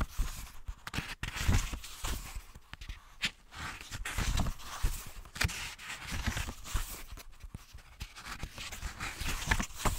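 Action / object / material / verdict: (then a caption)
scrape / paper book page edges / paper / none. Fingertips and nails scratch and riffle the stacked paper edges of a book held half-open. The result is a dense run of soft scratching and fluttering bursts with a bright, papery hiss over a dull low rumble of handling. The bursts come in irregular waves with no clean gaps between them.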